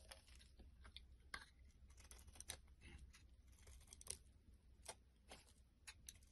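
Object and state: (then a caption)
Bar of soap being carved. A solid white bar of soap held in the hand as a blade scrapes and carves chunks and flakes from its edge. Quiet, dry, crisp cuts and scrapes sound in quick irregular bursts, with bright crackly edges over a low steady hum.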